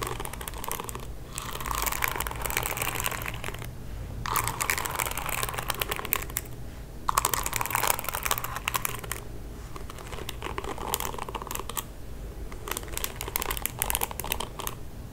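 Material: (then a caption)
Plastic. Fingertips and nails scratch and strum across the dense plastic bristles of a pink paddle hairbrush. The result is bursts of rapid, crisp crackling separated by short quiet gaps, over a faint low hum.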